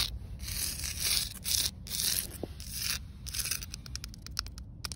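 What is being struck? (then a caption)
Concrete slab. Long acrylic nails scratch a rough, solid outdoor concrete slab. Bright, hissy scraping comes in long sweeping strokes at first, then turns into quicker, shorter scratches toward the end, over a faint low background rumble.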